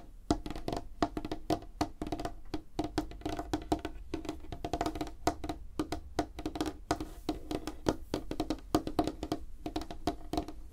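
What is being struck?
Light wooden tabletop.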